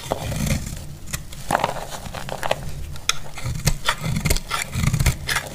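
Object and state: Dry soap bar being shaved.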